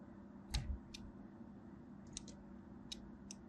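A small black blade scores a crosshatch pattern into a solid purple and white striped bar of soap held in the hand. Short, dry scratching cuts with bright, crisp edges sound at intervals over a steady low hum. Each cut dies away almost at once.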